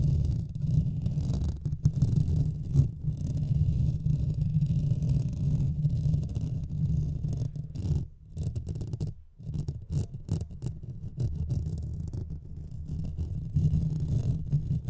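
Fingernails of both hands scratch in fast strokes across the hollow metal mesh head of a Blue Yeti microphone. The result is a dense, continuous low rumbling scrape centered around 70 Hz, with almost no high content. It briefly thins out and dips quieter around the eight-to-nine-second mark before building back up.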